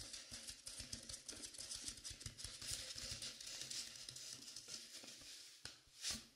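Long painted pink nails and fingertips scratch and rub the velvet-like flocked fabric of a life-size dark navy mannequin head while both hands hold its sides. A steady, bright, crackly scratching and pattering rustle runs throughout, with a sharper swipe and a louder brushing stroke near the end.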